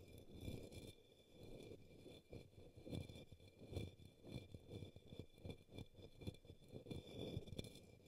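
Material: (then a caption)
Plastic. A brush sweeps across and taps the base of an upside-down, hollow, empty, pink opaque plastic cup or small bowl resting on a green towel. The result is soft, low, muffled scraping swishes broken by quick, dull, hollow taps that die out almost at once, with faint steady high tones underneath.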